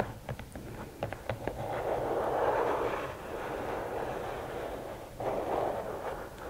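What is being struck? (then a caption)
Rigid cardboard gift box. Long nails tap the lid of a closed, hollow red and black rigid cardboard gift box with several quick, light, dry clicks. They then scratch across the lid top, making a steady, hollow, mid-pitched rasp that swells, eases off, and rises again in a second brief burst near the end.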